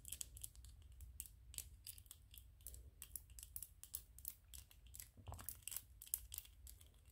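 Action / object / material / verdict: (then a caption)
scrape / 3D-printed PLA plastic toy / PLA plastic / none. Fingernails scratch the ridged surface of a small white PLA plastic 3D-printed ghost toy held in both hands. The result is a quiet, steady run of quick, bright, raspy scraping strokes over a low, soft rumble, with a few sharper crackly peaks throughout.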